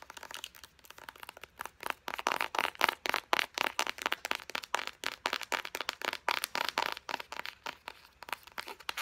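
Long blue acrylic nails rapidly tap, scratch and squeeze a hand-sized Pacifica Island Vanilla body butter tube made of soft white hollow plastic that is partly full. The result is a fast, steady stream of dozens of short, crisp clicks and crinkly scratches with a bright edge and no low end.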